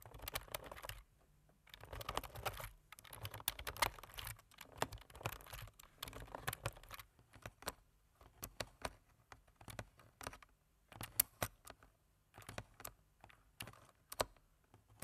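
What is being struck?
Plastic computer keyboard.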